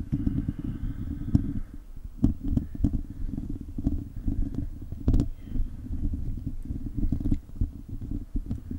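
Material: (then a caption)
Metal mesh. Fingertips and short nails of both hands scratch a hollow silver metal mesh microphone grille. The sound is a continuous low, boomy rumble of rubbing, sitting mostly below 200 Hz, broken by sharp bright ticks and clicks. Its loudness rises and falls in uneven bursts throughout the clip.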